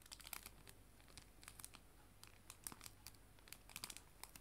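A clear plastic cello bag sleeve holding paper art prints is crinkled with fingers and nails, giving quiet, quick, bright crackles and crisp snaps in irregular bursts. A faint low hum runs steadily underneath.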